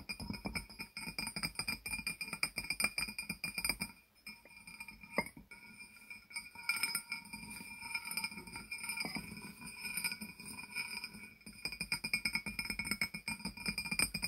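A small hollow glazed ceramic barrel jar with its lid on is tapped repeatedly on its sides with fingertips and nails. The result is a fast stream of short, bright clinks with a steady high ring around 2.4 kHz. The sound briefly thins out near the four-second mark before the tapping picks up again.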